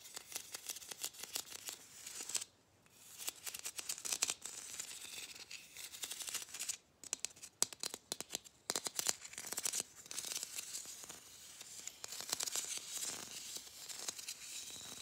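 A palm-sized, matte gold, ribbed hollow plastic Christmas bauble is scratched along its ridges and tapped with long fingernails. Fast, bright, dry clicks and raspy scratching run almost continuously, broken by a few brief pauses.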